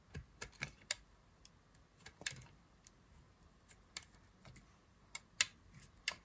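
A solid green bar of dry soap is cut with a thin blade, and thin slices peel away. The crisp, dry carving strokes come as short, bright clicks spread across the clip, with quiet scraping between them.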